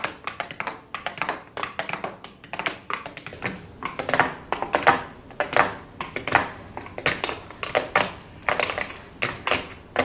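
Very long blue acrylic nails tap rapidly on the inner lid and the row of pressed shadow pans of an open, flat cardboard eyeshadow palette resting on a desk. The result is an irregular stream of quick, dry, clicky taps with a bright edge, almost no low end and very short decay, coming in uneven bursts of varying loudness.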